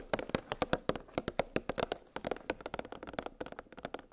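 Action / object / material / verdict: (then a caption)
tap / plastic blister pack holding metal cookie cutters / plastic / none. Long acrylic nails tap rapidly on a clear hard plastic blister pack holding metal cookie cutters on a cardboard backing. About 25 short, crisp clicks with a hollow mid-range tone around 500 Hz die away almost instantly, coming in an uneven, quickening run.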